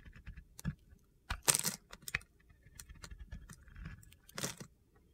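A metal box-cutter blade scrapes and shaves gritty flakes off a round, solid, palm-sized white Oscar de la Renta bar soap held in a hand with long red nails. Quiet, bright, crunchy scraping ticks come in short bursts, with louder rasping strokes near the start and end.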